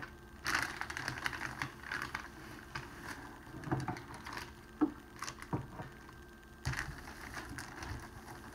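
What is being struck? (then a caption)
Cellophane wrapping sheet. A large, flat, clear cellophane sheet lying on a tablecloth is pressed, rubbed and scrunched with flat palms and fingertips. It makes a steady, irregular crinkling and crackling with sharper snaps scattered throughout.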